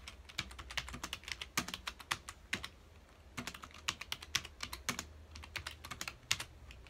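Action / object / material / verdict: tap / plastic computer keyboard / plastic / none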